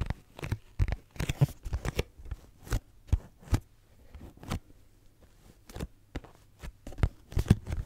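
Fingernails of both hands scratch and tap a pink cardboard tissue box, a hollow cube. The result is an irregular series of dull, hollow taps with short scratchy scrapes between them. The sound is mostly low and muffled, and each tap dies away almost instantly.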